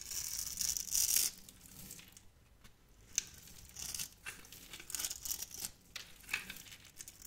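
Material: Soap.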